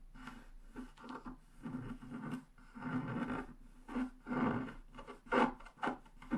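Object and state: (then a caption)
Scratch-art paper scraped with a stylus. A wooden stylus scrapes fine lines into the black coating of a flat scratch-art paper sheet lying on a desk, working along the lower right edge. Short, dry, rasping scratches come in uneven bursts about once a second, centred in the midrange with little low end and almost no ring after each stroke.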